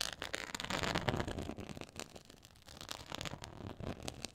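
Long acrylic nails scratch across a black quilted faux leather board with a raised pyramid texture, making a dense, crackly scratching with bright, rough edges. The scratching is busiest and loudest at the start, dips quieter in the middle, then picks up again in quick, uneven strokes.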